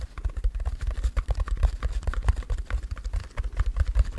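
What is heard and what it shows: Long nails scratch and rub across the plastic sequins of a small, soft, red heart-shaped fabric pouch held in both hands close to the mic. The result is a rapid, uneven run of short, dull scratches and soft taps, heavy in low thumps and muffled, with little brightness.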